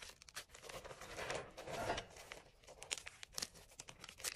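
Small solid chunks of gym chalk dyed green and blue, taken from an enamel bowl, are held in the palm and crumbled between the fingers. A dense, bright crunching and crinkling rises into a louder, sustained grinding in the middle, then breaks into quick, separate dry snaps toward the end.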